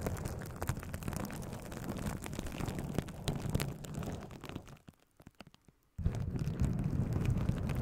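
A sheet of plastic bubble wrap wrapped in a cone around a microphone is scratched and rubbed with long acrylic nails and the fingertips of both hands, without popping any bubbles. The result is a dense, close, low rumbling crackle full of sharp scratchy ticks. It drops to near silence for about a second before resuming at full fullness.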